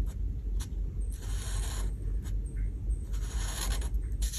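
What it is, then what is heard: Felt marker colouring on paper. A light blue felt marker tip is rubbed across a paper coloring page resting on a table (oven window) in coloring strokes. Soft, scratchy bright strokes come in short bursts over a steady low hum.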